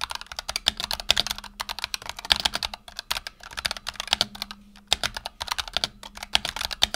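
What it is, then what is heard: Mechanical keyboard with PBT plastic keycaps. Fingertips of both hands type rapidly on a black tenkeyless Razer Huntsman Tournament Edition mechanical keyboard with PBT plastic keycaps and optical switches, resting on a desk mat. A fast, uneven stream of short, bright, crisp key clacks comes through with almost no ring after each press, over a faint low hum.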